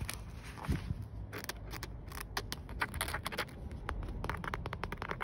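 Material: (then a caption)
Polyester. Green-painted fingernails and fingertips scratch a grey woven nylon/polyester car seatbelt strap, a flat thin fabric band with a plastic stop button, worn across the lap. The result is a dense run of short, dry, bright scraping strokes over a steady low rumble.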